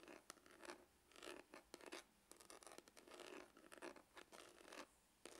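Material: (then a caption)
Faux leather. Fingernails scratch the grained lid of a dark, textured faux-leather hard glasses case that is hollow. Quiet, irregular bursts of dry, raspy scratching spread across the mids and highs with almost no low end, each stroke cutting off quickly with no ring.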